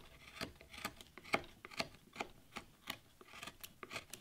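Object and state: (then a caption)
Wood relief panel being carved. A carving knife scrapes and cuts into a solid wood carving board, clearing the background around the leaves of a damask rose relief. About seventeen short, dry, bright scraping cuts come in an uneven rhythm, each ending abruptly with no ring.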